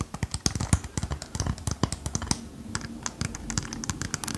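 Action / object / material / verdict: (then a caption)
tap / disco ball with mirror-glass tiles / glass / none. Long painted nails tap and scratch across the small square mirror-glass tiles of a small hanging disco ball held up by its chain, its core likely hollow or lightweight. A rapid run of short, dry clicking taps with low knocks and bright glassy ticks is broken by a softer scratching stretch in the middle. The taps die away instantly with no ring.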